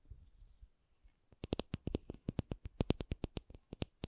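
A rubber object is tapped. After about a second of faint low rustling, 21 short taps follow in a quick, uneven rhythm, each a dull low thud with a brief bright click and no ring. The taps stop abruptly without decay.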